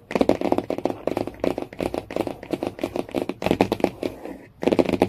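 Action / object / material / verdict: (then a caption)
tap / laminated cardboard hardcover book cover / laminated cardboard / none. Fingernails tap rapidly on the laminated cardboard cover of a hardcover Jungle Book. The result is fast bursts of dry, clicky taps with a woody midrange tone, broken by brief pauses, and each tap dies away almost instantly.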